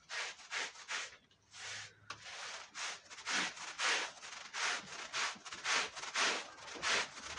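A dirty red patterned woven wool Persian rug covered in foam is scrubbed with a long-handled push brush. A steady series of back-and-forth strokes makes soft, bright, hissing rubs with short pauses between them.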